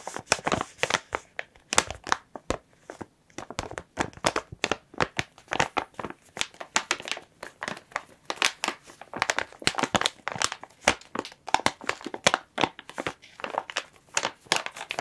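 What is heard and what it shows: Fingertips with long nails press, rub and crinkle a large clear soft plastic bag holding a blue and white plush toy. Dense, bright crinkling bursts follow one another across the clip, each crackle stopping almost instantly.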